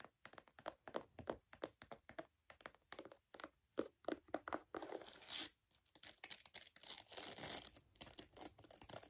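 Long nails tap and scratch the upper and laces of a handheld, hollow, empty white leather high-top sneaker with a strap. Quick, bright taps come first, then run into longer, hissy scratching and crinkly rubbing, with almost no low-end thump.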